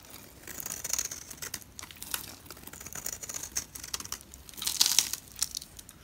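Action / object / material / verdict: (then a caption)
scrape / bar of soap scraped by a knife blade / soap / none. A utility knife blade scrapes along the edge of a solid green bar of soap held in the hand, carving off curly shavings. The result is a run of crisp, dry, crinkly scraping strokes, almost entirely high and bright with very little low end. The short bursts come in quick succession, and the loudest cuts fall near the end.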